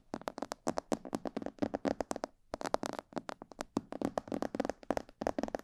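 Fingertips and nails tap around the ears and sides of a hollow, glossy black plastic mannequin head microphone. A rapid, irregular run of short, dry taps with a hollow midrange tone and almost no ring briefly pauses a little before halfway, then carries on.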